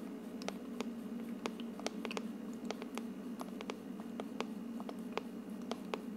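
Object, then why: Plastic diffuser dome. Long painted nails tap and scratch on top of the translucent frosted plastic dome of a hollow, medium-sized ultrasonic aroma diffuser with a wood-look plastic base, running with mist and glowing lights. Quick, dry, bright clicks and light scratches sound over a steady low hum from the running unit, each tap dying away almost instantly.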